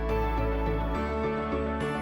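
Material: Nothing is struck.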